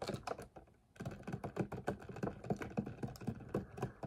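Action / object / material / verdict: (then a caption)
scrape / plastic water bottle / plastic / none. An empty, crumpled clear plastic water bottle with its label and cap is gripped and squeezed in the hands, making quick crinkling and crackling pops. They come in an uneven rapid stream, pause briefly near the start, then resume.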